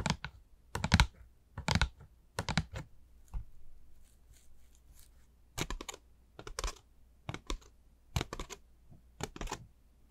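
Long pink nails tap and scratch along the ridges of a hollow, light, black pleated honeycomb tissue-paper ball shaped like a bat, with pointed ears, a yellow and red face and purple paper wings. Irregular bursts of quick, dry, crackly taps and bright papery scratches come in clusters, separated by quiet gaps over a faint low hum.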